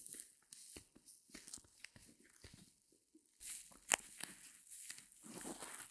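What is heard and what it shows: Long nails scratch and squeeze the sparkly, porous surface of a small white solid reticulated foam block, close up. Quiet, bright crackling and crinkling scratches come in short bursts, with one sharper, louder snap near the middle.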